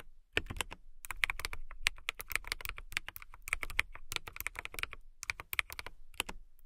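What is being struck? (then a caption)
Acrylic mechanical keyboard. Long nails type rapidly on a clear acrylic mechanical keyboard with transparent acrylic casing and clear keycaps. Bright, crisp clacks with a soft low thock stop dead after each keystroke. The keystrokes come in steady bursts with brief pauses between them.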